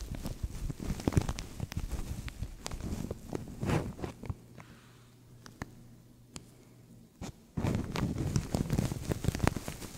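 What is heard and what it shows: Fingertips and nails scratch and crinkle a translucent thin plastic bag stretched over a microphone, making dense, close, low-heavy rustling and crackling. Midway the crinkling thins to sparse ticks over a faint low hum, then the busy scratching returns for the final seconds.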